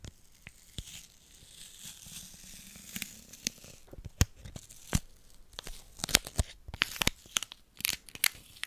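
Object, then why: Aluminium foil wrapper. A small, thin, hollow crumpled piece of silver aluminium foil candy wrapper is held in both hands close to the microphone and crinkled and rubbed between the fingertips. Soft, bright rustling gives way to sharp, crisp crackles and snaps. These grow busier and louder toward the end, each dying away almost at once.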